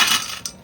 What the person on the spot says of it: कुरकुरीत आवाज आलाय इतके मस्तपैकी छान पैकी असे कुरकुरीत तळलेलेत